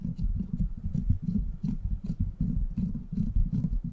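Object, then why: Steel mesh microphone grille. Fingertips and short nails scratch the hollow, rounded steel mesh head of a silver microphone. The result is a steady, dense patter of muffled, low, thumping scrapes with faint brighter hiss flicking through, each stroke fading almost at once.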